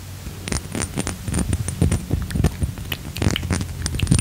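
Fingertips with short nails tap and handle a small, square, dark-teal Versace Eros glass perfume bottle with its cap, held in both hands; the bottle is solid-walled and its fill level is unclear. Quick, dry taps and soft scrapes come in an irregular stream, thudding low in tone and dying away almost instantly, with a faint steady high whine underneath.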